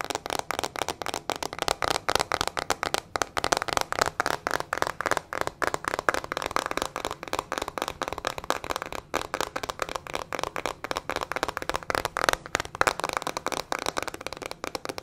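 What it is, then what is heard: Plastic hairbrush with metal pins. Long fingernails tap and scratch fast and hard on a small teal plastic hairbrush with metal pin bristles and a hollow plastic body. The result is a rapid, steady stream of dozens of sharp, dry clicks and scratchy ticks. They sit mostly in the midrange around 1.3 kHz with little low end and no ring.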